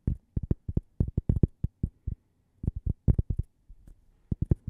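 A small, thin, solid cork coaster shaped like a slice of toast is held near the microphone and tapped with long painted nails and fingertips. About 21 soft, dull, low thuds come in quick irregular clusters, each dying almost instantly with no ring. A brief pause and a run of fainter taps break up the sequence.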